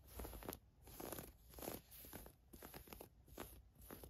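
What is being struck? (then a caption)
Thin woven fabric camisole. Long nails scratch and rub a navy floral camisole top made of thin woven fabric. The result is quiet, rhythmic, crunchy scratching strokes that swell and fade in repeated passes, with a soft low rumble underneath and a faint bright hiss on top.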